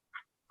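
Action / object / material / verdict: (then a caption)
tap / cooked chicken wings / fried chicken skin / crispy. Two short, crisp bursts come from cooked chicken wings made with only 1 tablespoon of oil in a skillet. Each sound is dry and mid-pitched with a bright edge and dies away almost instantly, showing how crispy the wings are.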